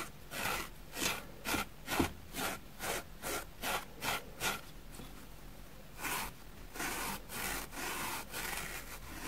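A white plastic spoolie brush is scraped back and forth across a grey, porous, dusty foam sponge block held in a hand, and dust falls onto a wooden table. Dry, bright scratching strokes come in a steady rhythm of about two per second, each a short hissy rasp. After a brief lull the strokes return, softer and smoother.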